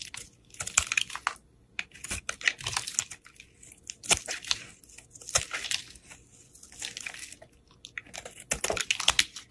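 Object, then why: Solid bar soap carved with a knife blade. A utility knife blade scrapes and slices flakes off a partly carved solid green bar of soap held in the fingers. Crisp, bright scraping and crackling cuts come in quick bursts with brief pauses between strokes, with almost no low end and no ring after each cut.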